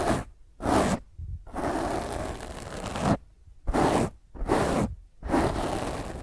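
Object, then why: Foam microphone windscreen. A black foam microphone windscreen held in one hand is scratched and rubbed by the long fingernails of the other hand. Rough, crackly scraping comes in repeated bursts with short silent gaps and one longer sustained rubbing stretch, full and muffled in the low and mid range with a little high hiss.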